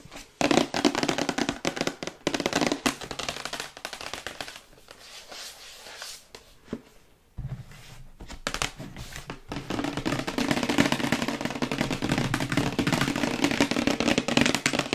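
Long white acrylic nails tap quickly across a glossy printed cardboard retail box for a Yeti microphone, probably with the microphone inside, held upright and tilted. The dry, bright clicking taps come in fast, uneven bursts, soften to a lighter patter through the middle, then return in a dense, louder rush to the end.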